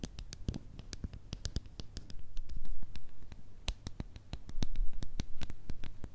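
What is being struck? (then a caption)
Small plastic tub with ridged plastic lid. Long nails tap and scratch on a small plastic slime cup with a blue swirl lid, mostly on its ridged plastic lid. Quick, irregular, bright clicks and short scratchy rasps come about three per second over a low, steady hum. The taps cut off almost instantly, and the middle and end stretches grow louder and denser.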